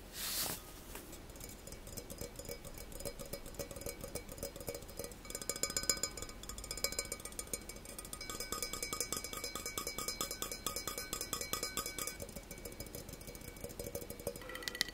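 Fingertips and nails tap rapidly on the outer wall of a black stainless steel tumbler with an engraved logo, hollow and apparently empty. The dense, quick taps give bright metallic clinks with a faint ringing tone that dies away almost at once, building in intensity around the middle of the clip.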